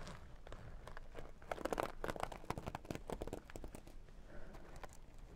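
Long dark nails scratch and tap the sequin side of a small zippered makeup pouch, making a dense run of quiet, crinkly clicks and scrapes. The taps are short and dry, clustering loudest around the middle before easing off.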